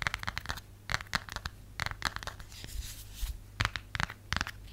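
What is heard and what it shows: Long nails tap and scratch the textured back of a cream plastic/silicone phone case, likely with a phone inside. Quick clusters of dry, crisp clicks and brief scratchy bursts come in irregular bursts over a faint steady low hum, each tap dying away almost instantly.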